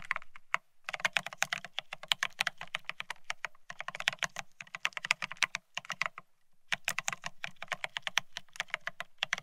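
A Bear65 mechanical keyboard with blank white matte Cerakey ceramic keycaps on a steel plate, resting on white cloth, is typed on rapidly with the fingertips of both hands. The keys give bright, crisp clacks with almost no ring, coming in fast bursts broken by brief pauses.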